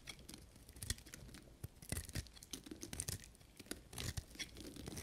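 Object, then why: Bar of soap cut with a knife blade. A small, solid piece of dry pink soap held in the fingers is shaved into curls with a knife blade. Quiet, dry scraping and crisp crackling strokes come in quick, irregular bursts, with a low thud under each cut and bright, brittle flecks above.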